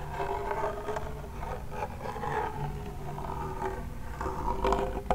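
Fingertips and nails rub and scratch the drum head and wooden rim of a small hollow wooden toy pellet drum. The result is a continuous dry scraping and rasping with a low, hollow rumble and a faint ringing tone, ending in a few sharper clicks.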